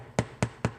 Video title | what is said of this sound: Ep. 01 - Sourdough Bread | when you hit it it sounds hollow so I think they're done